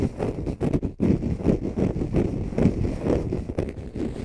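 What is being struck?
Konjac fiber sponge.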